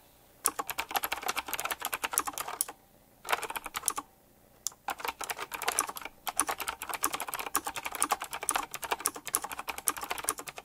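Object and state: Typewriter-style mechanical keyboard.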